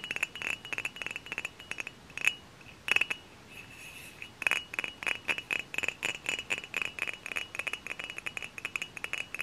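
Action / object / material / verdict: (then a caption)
tap / dark glass cider bottle / glass / none. A hollow dark glass cider bottle, held in both hands, is tapped with several long fingernails. Quick, bright glassy clicks each leave a short clear ring around 2.5 kHz, scattered at first, with a brief quiet gap, then settling into a steady, fast tapping rhythm.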